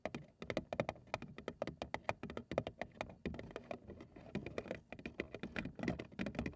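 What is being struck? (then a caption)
Cardboard cereal box. A large, hollow printed cardboard cereal box, held at the sides, is tapped rapidly along its front and edges with long acrylic nails. The result is a fast, irregular patter of dry, short clicks with a hollow midrange body and bright tips, each tap dying away almost at once.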